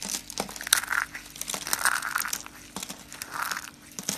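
Small hollow cream and brown curls of dry soap are squeezed in cupped hands and crushed into crunchy flakes. A dense run of dry, brittle crackling and crinkling snaps is heard, bright and crisp with a focus around 1.6 kHz, with almost no low end and no ring after each snap.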